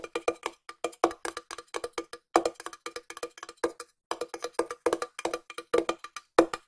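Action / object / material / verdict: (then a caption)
tap / small round metal tin tapped with fingernails / thin metal / none. A small round hollow silver metal tin, held in one hand, is tapped with long nails in quick clusters and slower single taps, about 44 separate hits in all. Each tap gives a short, hollow metallic tock centred around 336 Hz with a faint bright click on top, and it dies away almost at once.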